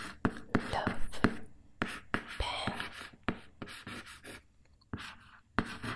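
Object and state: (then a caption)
Cardboard product box. A fingernail scratches and traces across the front face of a closed, hollow, printed cardboard loaf pan box held up in the air. Around fifteen sharp, dry scratching strokes come at an uneven pace, with a papery rasp over a hollow, low body resonance from the empty box.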